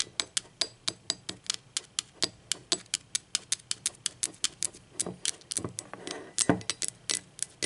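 Long acrylic nails tap the base of a hollow, speckled teal ceramic mug lying on its side, base facing out. About three dozen quick, bright, clicky taps land in a steady rhythm with almost no ring. A few softer, fuller knocks and light scraping mix in near the end.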